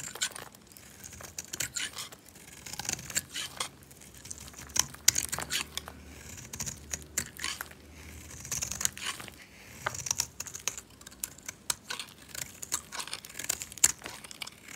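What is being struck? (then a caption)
Bar soap carved with a blade. A solid, dry white oval bar of soap, held in a hand with long nails, is carved and scraped with a metal utility knife blade, cutting off chunky white flakes. Many quick, bright scraping and crunching cuts with a crisp, tearing texture come one after another over a quiet background.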